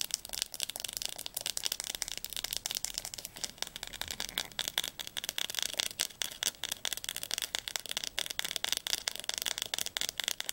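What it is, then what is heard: Hardcover atlas spine tapped with nails. Long nails tap rapidly on the spine of a blue Diercke atlas, a large hardcover book. The sound is a dense, steady stream of crisp, bright clicks with almost no low end, each tap dying away instantly.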